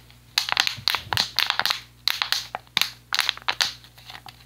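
An empty, hollow, clear PET plastic water bottle with a blue cap is squeezed and crushed with the fingers. It gives a quick run of sharp, bright crackling crinkles in uneven bursts, each snapping off with almost no ring, separated by short quiet gaps.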